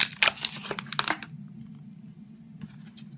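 A utility knife blade scrapes and shaves the surface of a solid red, hand-sized Palmolive soap bar held in the hand. Bright, crisp rasping strokes come in quick bursts for about the first second, then give way to near quiet over a steady low hum, with one faint scrape near the end.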